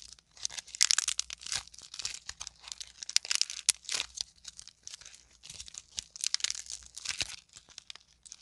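A solid lump of green and teal modeling clay, made from squashed clay balls, is crushed and kneaded between both hands with long nails. It gives off dense, bright crackling and crinkling with many quick snaps and rustles in uneven bursts and almost no low end.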